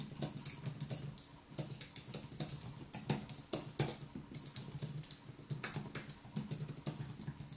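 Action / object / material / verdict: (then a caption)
tap / aluminium keyboard with plastic keys / plastic / none. Fingertips type continuously on the white plastic keys of a thin aluminium wireless keyboard. The result is a steady stream of short, bright clicks over a soft low thump, with brief louder bursts where several keys land close together.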